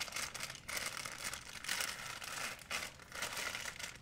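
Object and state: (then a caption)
Plastic shopping bag crinkling. An empty white printed plastic shopping bag of thin film is stretched and crumpled by fingers. It gives a dense, bright crinkling in continuous waves with brief dips between bursts, and almost no low end.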